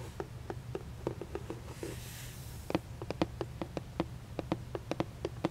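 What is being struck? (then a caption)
Cardboard gift box. Long painted nails tap and scratch the printed surface of a hollow red printed cardboard moon cake gift box held up close. About twenty short, dry, hollow taps with a low body ring around 320 Hz come in an uneven rhythm, broken around the two-second mark by a soft, breathy scratching hiss. A steady low hum sits underneath throughout.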